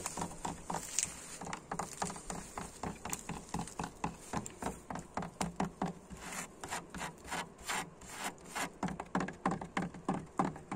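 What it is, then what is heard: Weathered wooden plank door. Fingernails and fingertips scratch and rub along the grain of a weathered door made of large, old, solid vertical wooden planks with peeling red paint and a grainy, dry surface. A quick, uneven run of short, dry scraping strokes comes in steady bursts, each with a bright, hissy edge and no ring afterward.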